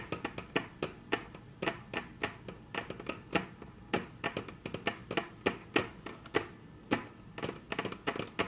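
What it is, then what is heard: Wooden tabletop tapped with nails. Very long natural nails tap on a flat, solid, dark brown wood-grain tabletop in a quiet, irregular series. Each tap is a short, sharp click with a bright top and a brief low thud, dying away almost at once, with soft brushing sounds between the taps.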